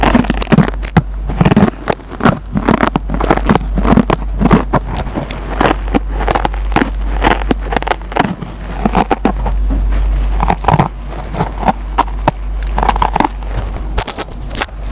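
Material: Nylon foam.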